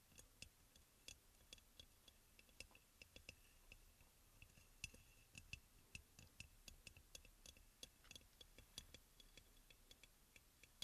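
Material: Ceramic.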